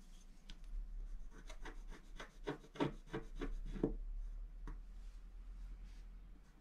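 A wooden stylus scratches along the top edge of a black-coated scratch art paper sheet while the other hand rests flat on the sheet. A quick, uneven run of short, dry scratching strokes rises and then fades into softer, scattered scrapes over a low, steady hum.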